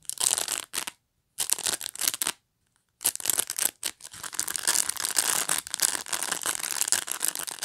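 Long nails scratch and flick the dense, flexible plastic bristles of a hand-sized black pet brush with a solid body. Bright, crackly bristle scratching comes in short bursts separated by brief silences, then continues as steady scratching through the second half.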